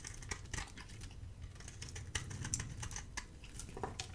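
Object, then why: Bar of soap shaved with a blade. A hand-held bar of dry soap, solid with a red coating and a white core, is shaved with a metal utility blade. It makes a quick run of crisp, dry scraping and clicking strokes with bright, brittle edges, each one short and dead with almost no ring, over a soft low rumble.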